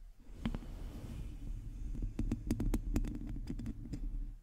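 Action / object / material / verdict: scrape / domed metal mesh microphone grille / metal mesh / none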